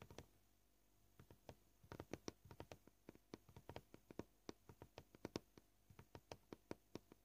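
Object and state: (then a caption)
Plastic cutting board tapped with fingernails. Nail tips tap the surface of a solid white plastic cutting board, making 34 short, dry clicks that die away almost instantly. The taps come at an uneven, changing pace, some in quick clusters and some spaced apart, each a quiet, bright tick over a low, steady background hiss.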